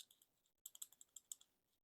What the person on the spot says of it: ça sonne comme du métal